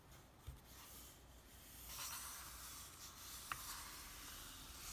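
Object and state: Paper comic book being rubbed.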